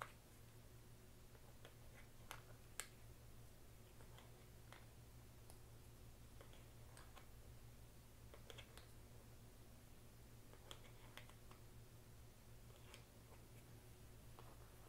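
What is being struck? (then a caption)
Plastic poker chips. Fingers pick up small solid blue plastic poker chips from a brown tray, stacking them and clicking them against each other. Short, sharp, bright clicks come at irregular intervals over a quiet, steady low hum.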